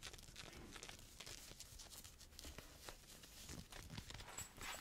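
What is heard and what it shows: Fingernails scratch and fingers rub the cuff of a teal knit cotton fleece sweatshirt sleeve being worn, a soft, thick fabric. The result is a steady, dense, bright scratching texture with quick strokes running together over a soft low rumble.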